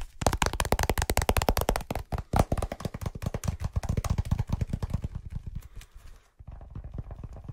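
A small folded brown leather wallet held close to the mic is tapped and scratched with fingertips and short nails. Rapid, dense taps land as soft, low thumps for about five seconds. They thin into quieter, scratchy strokes, break off briefly, and resume as a softer, steadier rubbing.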